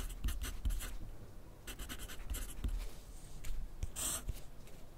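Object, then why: Graphite pencil on paper sheet on a clipboard. A yellow wooden graphite pencil writes continuously on a thin grid paper sheet resting on a white clipboard. Its tip makes a series of short, bright scratching strokes over a steady low rumble, with brief pauses between bursts and a longer, louder stroke near the end.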